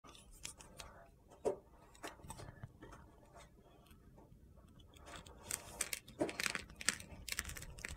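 A metal utility-knife blade scrapes and carves a hand-sized solid bar of soap with an iridescent glitter coating and a mint-green interior, held in one hand, shaving off crunchy flakes. Soft, scattered scratches and crisp ticks in the first half give way to denser, louder, bright gritty crunches toward the end, each stroke ending quickly with no ring.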